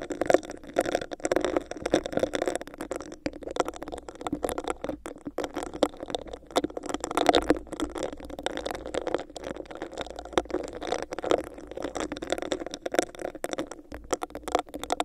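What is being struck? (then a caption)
Textured clear plastic cup. Long acrylic nails tap and scratch a hollow, clear, bumpy textured plastic cup placed over the microphone. The result is a dense, steady stream of quick clicks and scratchy rasps with a hollow, boxy resonance centered in the low mids around 300–700 Hz, and very little deep bass.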